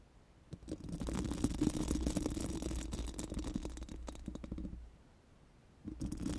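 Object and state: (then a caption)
Metal microphone grille being brushed. Four pink silicone spoolie brushes on plastic sticks are rubbed and scratched over a bare, hollow steel mesh microphone grille. A steady, dense scratchy brushing with a low, hollow hum runs for about four seconds, pauses briefly, then starts again at the end.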